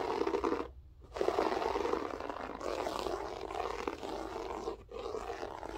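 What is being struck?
Loop-pile floor carpet.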